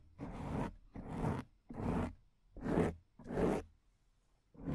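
Long acrylic nails scratch the top of a black foam microphone windscreen in five separate strokes, with a sixth beginning as the clip ends. Each stroke is a rough, rasping scrape with a heavy low rumble underneath and a bright, breathy hiss on top, separated by short pauses of near silence.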